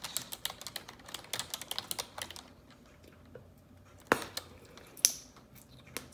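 Long neon-yellow nails type on the keys of a black plastic computer keyboard, producing a run of quick, bright clicks and taps for the first two and a half seconds. After a quieter pause, a few louder, sharper clacks ring out.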